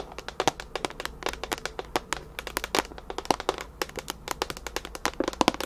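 Long nails tap and scratch a clear plastic storage container with a lid, full of small colorful items. Dozens of quick, dry, sharp clicks and crackly scratches come in an uneven stream, each stopping instantly with no ring, over a faint steady low hum.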